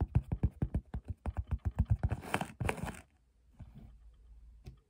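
Long pink-painted fingernails rapidly tap and scratch the front face of a small, hollow teal storage box woven from flat fabric or plastic straps in a checkerboard pattern, standing on a wooden table. About sixteen quick, dull, low thuds come first, followed by a burst of rougher scratching and then faint, softer scraping. Each tap dies away almost instantly.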